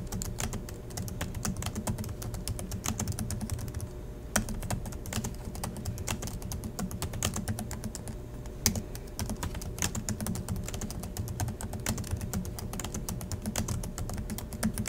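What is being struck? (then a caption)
Plastic laptop keyboard. Fingertips type steadily on the black plastic chiclet keys of a silver Acer laptop resting on a desk, giving a fast, continuous stream of light clicky taps. Each keystroke is short and crisp over a low, dense rumble, with a few sharper, louder clacks standing out near 4.4 and 8.7 seconds.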